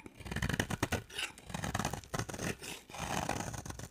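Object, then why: Bar soap scraped with a knife blade. A utility knife blade scrapes and carves a solid, dry, purple marbled bar of soap. The result is a run of short, dry scraping strokes with crisp bright edges and a low rough rasp underneath. Each stroke swells and fades quickly with no ringing after it.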